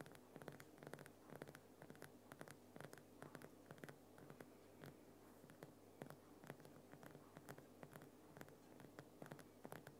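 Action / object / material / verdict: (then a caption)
scrape / rock salt lamp / rock salt / none. Fingernails on both hands scratch and tap the uneven surface of a Himalayan rock salt lamp, a large solid lump of glowing pink rock salt. Quiet, quick dry taps and rasping scratches follow one another steadily over a faint low steady hum.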